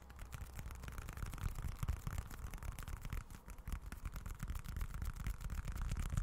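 Fingertips scratch and tap a small, dark, folded wallet with a leather-look finish. The result is a steady, soft scratching with quick, dull taps that die away almost at once. The sound is low and muffled, with a faint brighter rasp.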